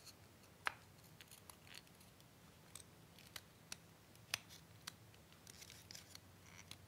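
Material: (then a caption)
Wood. Green-painted wooden dowel sticks are pushed, twisted and rubbed with the fingertips in the holes of a small solid wooden Tinker Toy hub spool held in both hands. The result is a quiet series of short, sharp, bright wood-on-wood clicks scattered over soft, scratchy friction.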